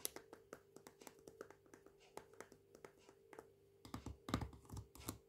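Fingernails tap and scratch the side and label of a full, medium plastic jar of smooth peanut butter with a blue plastic lid. There is a quick series of light, dry clicks over a faint steady hum. Near the end, louder, rougher scratching bursts take over.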